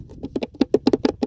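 Fingers drum on the back of a wooden ukulele, whose body is open and hollow from the sound hole up to the neck. A quick series of short, dry, drum-like taps sounds with a low-mid hollow thump around 270 Hz and almost no ring, showing the body is hollow as expected.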